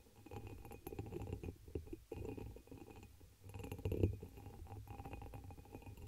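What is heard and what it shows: A hollow, empty dark amber embossed glass chalice sits upside down over the microphone while long pink acrylic nails tap and scratch its patterned surface. Quick, soft clicks and scratchy rustles come through a dull, low, boomy resonance. The taps are short with almost no ring, and the strongest one lands near the four-second mark.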